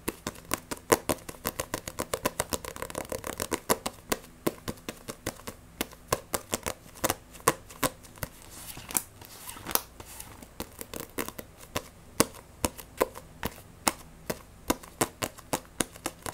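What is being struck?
Paperback book with glossy paper cover.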